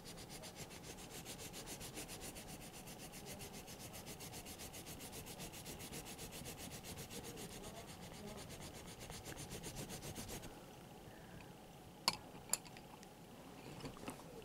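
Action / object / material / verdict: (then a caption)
scrape / colored pencil on sketchbook paper / paper / none. A red colored pencil, held in the fingers, is rubbed in back-and-forth strokes to color inside an outlined letter on a page of an open paper sketchbook with a thick page stack. A steady, bright, scratchy rubbing continues for about ten seconds, then drops to a quieter hush. Two sharp ticks follow near the end.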